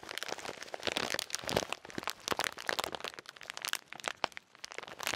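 Fingertips with painted nails squeeze and crinkle a blue and white plastic snack bag full of shelled salted peanuts, held close to the mic. A dense stream of bright, crackling crinkles and sharp snaps fades in and out with little low end, each crack dying away almost at once.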